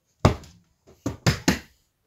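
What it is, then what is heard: Hollow-sounding wall. Someone bangs four times on a house wall that is supposed to be an outside wall. Each bang is a dull, low thud that dies away quickly. The wall sounds hollow, which is blamed on poor building work.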